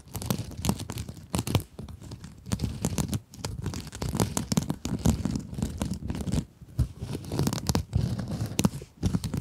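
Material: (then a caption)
Plastic mesh. Long acrylic nails scratch a small pink scrub sponge with a sparkly glitter mesh cover. The result is a dense, steady run of rough, crinkly rasps, heavy in the low end with faint bright edges. The scratching comes in quick bursts separated by short pauses.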